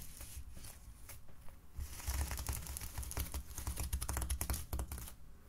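An opened-out white polyethylene foam mesh sleeve, lying flat on a table, is scratched and rubbed with fingertips and fingernails. It makes dense, irregular crackly scratching with quick dry clicks over a low rumble. The sound starts quietly and grows busier and louder in the second half before easing off at the end.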